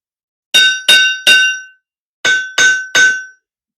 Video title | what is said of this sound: Black Smith 101 Lesson 2 Looking at the Hammer and the Anvil | working on the heel of the anvil is a lot louder